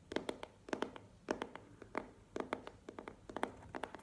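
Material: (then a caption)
Cardboard. Long nails tap and scratch the sides of a small, hollow black cardboard earbuds box held up in both hands. Clusters of quick, dry, hollow taps with a midrange tone around 600 Hz stop almost instantly, with faint scratching between them.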